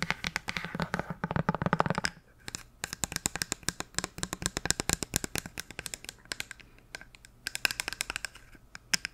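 Long nails tap and scratch fast on a hollow, medium-sized white plastic bottle with a printed label and cap. For the first two seconds a dense, scratchy rustle dominates, then a rapid stream of sharp, bright clicks follows with almost no ring, continuing in uneven bursts to the end.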